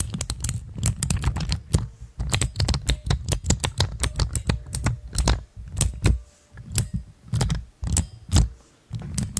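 A hand-sized, dome-shaped cluster of pastel plastic keycaps on clear mechanical switches, mounted over a stand, is pressed with fingertips and tapped with long nails. The result is a fast, irregular run of short, dry clicks with a deep thocking body and bright crisp tops, each dying away almost instantly. The clicks thin out into spaced taps with brief silences toward the end.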